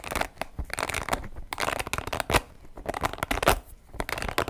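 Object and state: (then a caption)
Spiky rubber ball. Fingertips scratch and squeeze the spikes of a small, hollow, soft orange spiky rubber ball with blue and yellow patches. The result is a dense run of dry, crackly scratching and brief rubbery squeaks, broken by a few louder squeezes that spread bright hiss across the range and stop almost at once.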